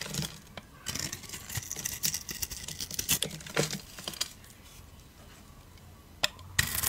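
A blade scrapes a solid bar of soap held in the hand, the bar coated in gold glitter with a cream inside. Crisp, bright, crackling scrapes come in bursts for the first four seconds. After a quieter stretch with faint rustling, a sharp click sounds and a loud scrape closes the clip.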